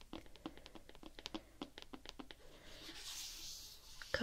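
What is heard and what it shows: Fingers tap on the rubbery coating over the toe of a canvas skate shoe, making a quick run of light, dry, raindrop-like ticks. The taps are followed by a soft brushing hiss and one louder tap at the end.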